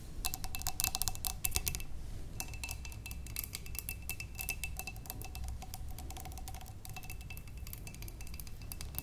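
Long nails and fingertips tap the sides of a large clear glass vase holding water and stems. The result is a fast, uneven run of bright clicks with a faint glassy ring, broken by a short pause near two seconds. A steady low rumble sits underneath throughout.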